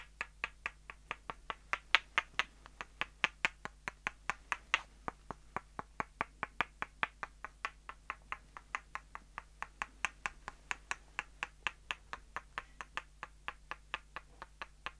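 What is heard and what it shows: The end of one short, solid light-wood dowel is knocked against the side of another, giving a steady run of about sixty sharp, dry, bright clicks that die away almost instantly. The taps come at a quick, even pace over a faint, constant low hum.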